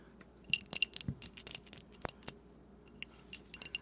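Long painted nails tap and scratch a small glass jar filled with pink wax and a lit candle, held in both hands. Quiet, sharp, bright clicks and ticks come in irregular clusters with almost no ring, each tap dying away instantly, separated by soft scraping.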